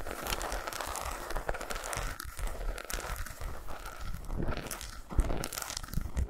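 An unwrapped solid milk chocolate bar with segmented squares, lying on a towel, is scratched and tapped with long pointed acrylic nails. The result is a steady stream of quick, dry crinkly scratches and crisp clicks over soft, dull low thumps, with a couple of sharper taps near the end.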